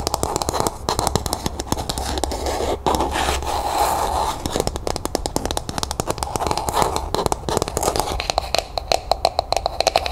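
Long nails rapidly tap and scratch the textured surface of a hollow, empty, pink frosted plastic cup, held first on its side and then upright. Quick, dry clicks come in dense bursts over a continuous scratchy scraping, with a faint hollow plastic tone around the midrange and a steady low hum underneath.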